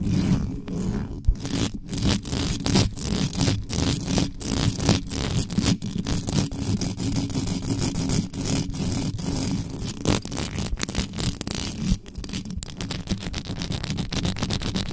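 Extra-long yellow nails scratch fast across the top and sides of the uncovered mesh grille on a black metal USB microphone. The result is a dense, continuous scratching and scraping with a heavy low-end rumble, broken by rapid, irregular brushy bursts that flash up into the high range for the full clip.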